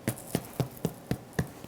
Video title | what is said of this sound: Best Sliceable Corned Beef (Not Stringy!) + A St. Patrick’s Day Recipe Marathon | Can you hear that hollow sound? That's how you know your soda bread's done.